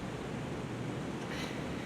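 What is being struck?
Nothing is struck.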